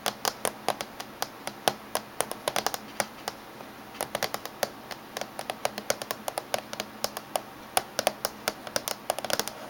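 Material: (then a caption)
Aluminium. Fingernails of both hands tap on the top surface of a closed silver laptop casing. About fifty sharp, bright clicks land in quick, uneven bursts, each dying away almost instantly over a faint steady background.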